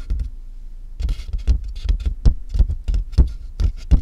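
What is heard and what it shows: Fingernails tap the top of a large, hollow cardboard box, then fingers tap and rub its sides. Quick, dry taps land as deep, hollow thuds with very little ring, and a faint scratchy rustle sits between them.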